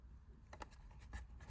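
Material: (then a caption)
Plastic. A comic book in a plastic grading case is shaken, and the book slides around loose inside instead of being sealed tight. Faint, quick rattling clicks are heard over a low rumble, with about six short bursts. The case is not holding the book snugly.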